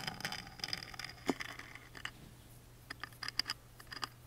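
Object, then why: Small thin engraved wooden box lid tapped and scratched with a wooden toothpick. A wooden toothpick taps and scratches along the engraved relief of the thin, laser-engraved wooden lid of a tiny music box. Bright, dry scratchy rasps give way to a scattered series of quick, sharp little taps that die away almost instantly. A faint low hum runs steadily underneath.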